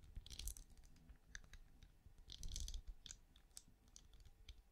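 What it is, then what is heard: Ridged plastic night lamp. Long nails tap and scratch the ridged side of a small, hollow, glowing night lamp with a translucent ridged plastic shell, held in one hand. Quiet, crisp clicks and bright scratchy bursts come in clusters over a soft low rumble, each tap dying away almost instantly.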